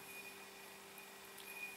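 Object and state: Nothing is struck.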